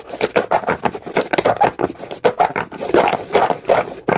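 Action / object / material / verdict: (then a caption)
scrape / rough stone surface / stone / none. A comb is pressed hard and scraped quickly across the textured surface of a dark, rough, solid rock. The result is a rapid run of short, dry, raspy strokes with a gritty midrange tone. Each stroke stops abruptly, with no ring.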